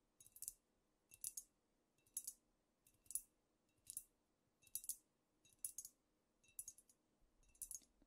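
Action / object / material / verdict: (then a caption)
tap / glass bottle / glass / none. Long nails tap with both hands on a squat amber glass cognac bottle with a paper label, apparently filled. Nine quick bursts of bright, clicky taps come at a loose, steady pace, each dying away instantly with almost no ring, over a faint low background hum.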